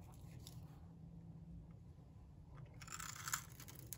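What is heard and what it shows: A metal box-cutter blade scrapes the surface of a solid, dry, pink rectangular bar of soap, giving quiet, crisp crunching scrapes over a low steady rumble. Bright, crackly scraping comes in short bursts early on, then grows denser and louder near the end, with a sharp peak around the third second.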